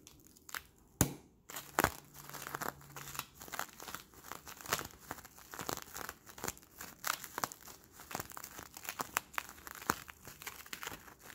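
Fingertips squeeze and crinkle a hand-sized, hollow Bloonies plastic bubble made of crumpled, clear, sticky plastic film with a bluish patch. The result is a steady stream of dense, bright crinkling and crackling, broken by sharp snaps near the start and a faint low tone underneath for a moment.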